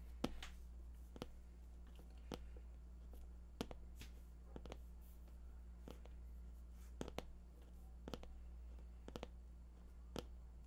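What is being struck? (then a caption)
Cardboard packaging box. Fingertips tap on the top of a glossy white printed cardboard product box, hollow and medium-sized, lying flat. They make a quiet, irregular series of short, dry clicks with almost no ring over a steady low hum.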